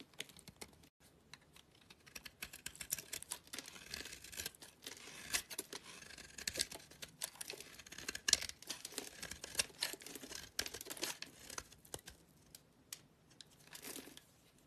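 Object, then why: Bar of soap. A small, solid, white embossed soap bar is held in the hand while a utility knife blade scrapes brittle flakes across its face. The result is a quiet, dense run of crisp, bright scratching and crumbly crackling strokes, with almost no low end.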